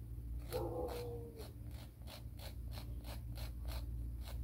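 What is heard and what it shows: A grey emery board nail file is drawn against its grit in quick, repeated rasping strokes, each a short bright scratch over a steady low hum. Early on, a faint whine near 520 Hz rises briefly and fades.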